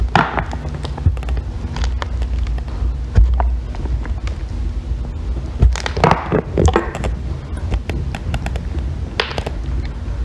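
A solid green bar of soap is held upright, steadied by long nails, while its edge is scraped with a metal loop tool. Crisp scraping clicks and short rasping strokes repeat over a steady low hum, with a few louder scrapes standing out.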